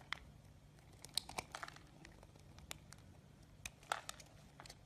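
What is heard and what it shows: A solid light green soap bar held in the palm is sliced into thin strips with a utility knife, the shavings falling away. Quiet, dry crinkling and crisp scraping clicks come in scattered bursts, bright and sharp over a faint low hum.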